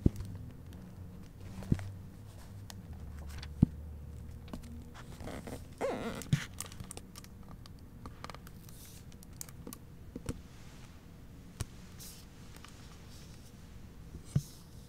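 A hardcover book is held open while its paper pages are turned and fingers handle the author-photo flap of its plastic-covered dust jacket. Soft, close crinkling and rustling run throughout over a low steady hum, broken by a few sharp, brief ticks and snaps.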